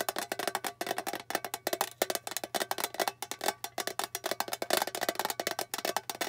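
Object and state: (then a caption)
Small metal tin box. A small, flat, hollow rectangular metal tin with a blue lid printed with a silver bow is held in the hands and tapped rapidly with long painted fingernails. About thirty-four quick, dry clicks ring hollowly around 574 Hz, with bright edges and almost no decay.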